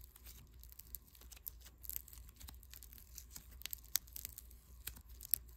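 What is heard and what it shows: A small lump of unpackaged white foam clay made of tiny polystyrene beads, soft yet solid, is squeezed and rubbed between fingertips and thumb. This produces a quiet, irregular crackling and crinkling with sharp, bright little pops scattered through it, over a low steady rumble.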